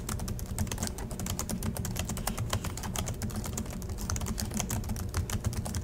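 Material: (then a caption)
Plastic. Both hands type steadily with their fingertips on the black plastic chiclet keys of a silver Acer laptop resting on a desk in dim light. The result is a dense stream of quick, bright clicks over a low, steady hum.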